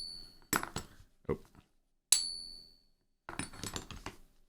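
A 1 oz silver round is pinged for a ping-test app with the diameter wrongly set to 40 mm, giving bright, high ringing pings with sustained tones, mixed with shorter clinks and handling clatter. The app shows about 10–11% frequency deviation because of the wrong diameter setting, not because the coin is fake; at its exact diameter it matched within 1%.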